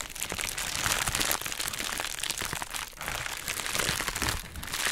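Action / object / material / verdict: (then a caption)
scrape / plastic bubble wrap mailer / plastic / none. A hollow pink heart-shaped plastic bubble wrap mailer bag is held in both hands, crinkled, and scratched with long nails. It makes a steady, bright crinkling and crackling with dense small snaps. Brief dips in loudness come between handling passes.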